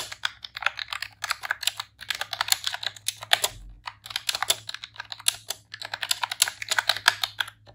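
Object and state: Plastic computer keyboard being typed on.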